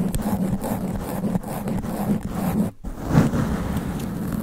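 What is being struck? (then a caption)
Foam microphone windscreen. Extra-long black nails scratch fast and aggressively across a sponge foam microphone windscreen. The result is a dense, continuous rough scraping and rustling with a heavy low rumble. It briefly drops out near the middle, then resumes just as intensely.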